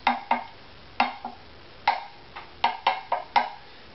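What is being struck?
Wooden violin top.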